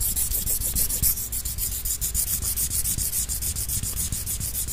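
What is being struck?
Thin wooden sticks.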